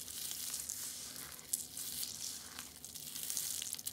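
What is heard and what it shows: A pile of crushed orange and green dried soap flakes is squeezed in the hand and rubbed with the fingers. It makes a steady, bright, crackling crunch with a hiss-like texture and occasional sharper crackles throughout.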